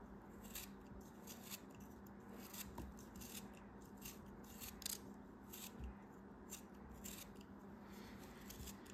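A craft knife slices pieces off a small, solid purple kinetic sand cube held in the hand, making a rapid series of crisp, bright, gritty slicing crunches. A steady low hum runs underneath throughout.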